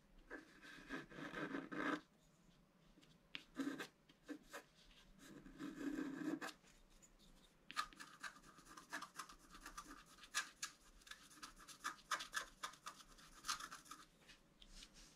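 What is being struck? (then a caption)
Scratch-art card, black coated paper, scratched with a wooden stylus. A wooden stylus scratches the right antler into a flat scratch-art sheet of black coated paper, producing dry, papery scraping. Long continuous scrapes come first, separated by pauses and a few short strokes. These give way to a dense run of quick, uneven scratches with a bright, rasping edge centered in the midrange.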